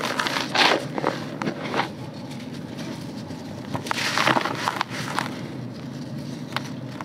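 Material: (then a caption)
Soil. Hands dig into dry red soil in a grey bucket, crumbling the clumps and letting the granular dirt pour between the fingers while one hand holds a solid, porous dirt clump. Bursts of dry, crunchy crumbling and bright gritty crackles rise over a steady sandy hiss of pouring dirt.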